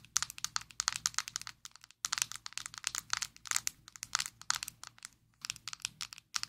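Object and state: Plastic powder jar tapped with nails.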